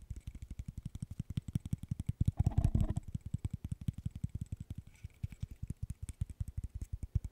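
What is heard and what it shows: A small, solid, light-wood burr puzzle of interlocking sticks is held in the hand while fingertips and nails tap and scratch its wooden pieces. A steady stream of quick, dull, low knocks runs throughout with almost no ring, and a louder, rougher scratching burst swells just before the three-second mark before the even tapping resumes.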